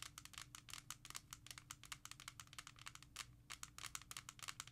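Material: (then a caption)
Hard plastic. A small, hollow, clear hard plastic jewel case holding a Thriller CD is held in the hand and tapped and scratched with long acrylic nails. The result is a rapid run of sharp, bright clicks and taps mixed with scratchy rasps, each dying away almost at once over a faint low hum.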